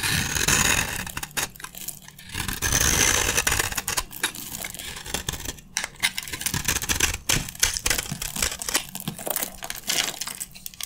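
A metal utility blade scrapes crunchy red shavings from the face of a solid, dry red soap bar held in the hand. The sound is a dense, bright, crackling scrape made of many quick, uneven strokes, with brief pauses between passes and faint low thumps underneath.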